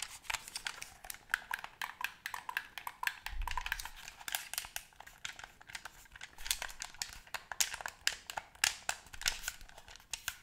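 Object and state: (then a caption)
Plastic game controller. A white plastic gamepad, a hollow shell with buttons held in both hands, is tapped rapidly with long nails that have paper clips attached. The result is a fast, uneven stream of sharp, dry, bright clicks and ticks that die away almost instantly, with a faint low thump partway through.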